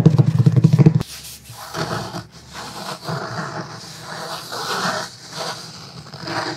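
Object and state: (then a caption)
Cloth-covered hardcover book. A thick black cloth hardcover book is held upright while fingertips and short nails rub and scratch its cover. The first second is a loud, buzzy low stutter of rapid pulses. It then drops to softer, breathy scratching and rubbing that swells and fades in uneven strokes.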